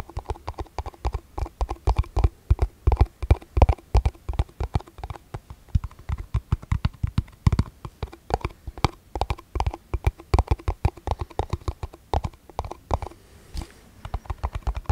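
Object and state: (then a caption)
Clear plastic cup. Fingertips and nails tap a small, hollow, empty, transparent plastic cup held low near the microphone. A fast, uneven stream of short, dull, hollow clicks and knocks follows, weighted toward low thuds with little brightness. Each tap dies away almost instantly.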